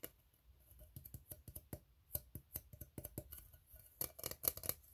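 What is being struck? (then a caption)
Ribbed steel tin can. Fingertips tap the bottom of an empty, hollow, ribbed steel tin can while fingernails scratch across its ribs, making soft, dull taps and short bright metallic scrapes. The quiet, irregular sounds have a low thump and a high scratchy edge, and each one dies away almost instantly.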